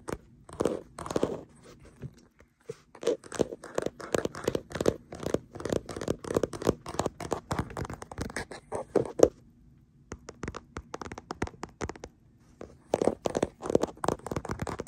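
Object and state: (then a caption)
Hard plastic phone case tapped and scratched. Fingertips and nails tap and scratch a printed hard plastic case on a smartphone held in a black clamp mount. Rapid, dry clicks and scraping rasps come in dense bursts with brief pauses, each sound short and close with a bright edge.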